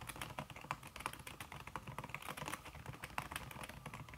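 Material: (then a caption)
Silicone. Long red fingernails and fingertips type fast on a backlit laptop keyboard in a silver aluminum body, its keys covered by a thin red silicone skin. The result is a quick, steady stream of short, muted tapping clicks with a bright edge and almost no ring, and no talking.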